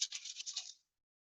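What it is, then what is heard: Bottle filled with sand. A blue plastic bottle filled with sand is shaken as part of a Montessori sound-matching box. It gives a quick series of bright, hissy rattling swishes with no low end, which fade out after under a second.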